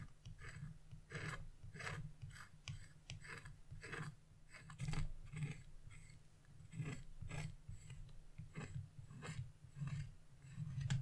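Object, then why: Scratch-art coated paper sheet. A carving chisel scratches lines near the edge of a black-coated scratch-off art paper page resting on a wooden table. Short, raspy scratching strokes repeat in quick bursts, each with a bright, gritty texture, over a steady low hum.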